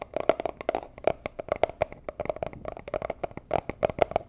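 A small, hollow, rigid teal cardboard gift box used as a jewelry box is tapped with long nails and fingertips. About 24 quick, dry taps vary in loudness, each with a hollow tone around 640 Hz that stops almost instantly.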